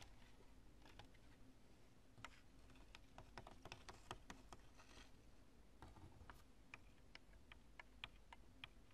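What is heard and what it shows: Long nails tap and scratch a chunk of cured polyurethane spray foam, an expanding foam mass with thin strands. A quiet, uneven series of short, sharp ticks and crackles rises above a steady low rumble, each click bright and dying away almost at once.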